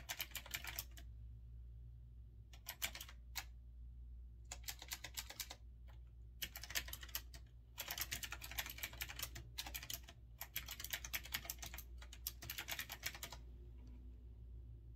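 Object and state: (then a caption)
Retro typewriter-style mechanical keyboard. Fingertips type fast on a retro typewriter-style mechanical keyboard with round chrome-rimmed keycaps, resting on a wooden desk. Bursts of rapid, bright, clicky keystrokes come in runs separated by short pauses. A steady low hum sits underneath throughout.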